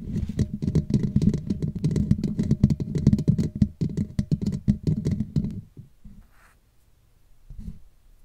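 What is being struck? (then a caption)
Woven metal mesh microphone grille. Long nails of both hands scratch the black woven metal mesh grille on the hollow head of a Blue Yeti microphone, making a dense, rapid, low, thumpy scratching and tapping for about five and a half seconds. The sound then drops to near silence, with one faint soft rustle near the end.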